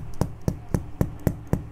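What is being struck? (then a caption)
Mattress struck with a pencil. A pencil strikes a mattress six times at an even pace, each hit a soft, dull thud. The thuds are low and muffled and die away at once with no ring.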